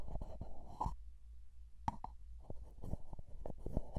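Fingertips tap and scratch along the sides of a small plastic Vaseline petroleum jelly jar with a blue plastic lid, held close to the microphone. Soft, muffled, low-heavy taps with a hollow plasticky tone die away almost at once, mixed with light scratching. The tapping pauses briefly near the middle before resuming in a quick, uneven run.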